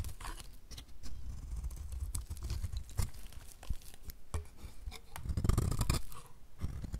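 A utility knife blade scrapes and cuts curls off the face and edge of a solid white rectangular bar of dry soap held in the hand. The result is a steady stream of dry, crisp scraping and crunching with many short crackles, heaviest in the low end and swelling to a denser crunch near the end.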